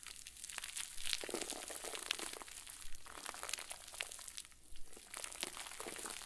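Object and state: Plastic bag with soft stuffing, squeezed.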